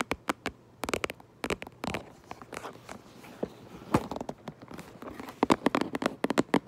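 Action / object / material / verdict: tap / cardboard toy box / cardboard / none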